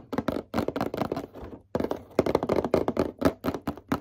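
Fingertips tap on a packaged Pokemon card starter deck gift box, the owner's very first one. Quick runs of light, dull taps come in short bursts, with a brief pause in the middle. Each tap is a soft mid-pitched knock that dies away almost instantly.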